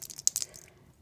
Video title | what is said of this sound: Epoxy Free Santa Cam Tutorial | you can hear it rattling whatever's in there